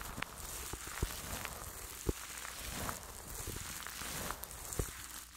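A fluffy makeup brush sweeps and rubs over clear plastic cling film stretched tightly over a large metal-mesh microphone head held in one hand. It makes a steady, soft crinkly rustle with a low rumble underneath and bright hiss on top. Four sharper crackling pops stand out from the rustle.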